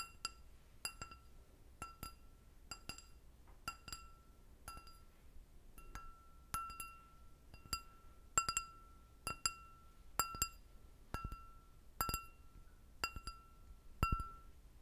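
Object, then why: Stemmed glass goblet. An empty clear glass goblet with a short stem is tapped with long nails and fingertips. The taps come as a steady series of sharp, bright clinks, often in quick pairs, each leaving a brief ringing tone near 1.35 kHz with high overtones over a faint low background.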